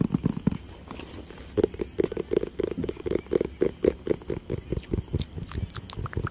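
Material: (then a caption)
Cardboard. A hollow white and blue cardboard product box, partly hidden behind a microphone at first, is tapped and scratched with fingertips and nails. A brief pause follows a few opening taps, then a steady run of short, dull, hollow knocks with a mid-low body around 380 Hz. Faint scratchy ticks sit between the knocks, and each one dies away almost instantly.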